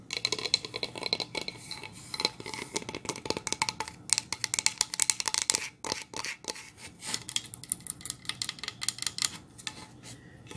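Long nails tap and scratch a solid painted pine plank sign, first lying flat and then held upright. Dense, rapid, bright clicks and scratches come in uneven bursts, each dying away at once with almost no low end or ring.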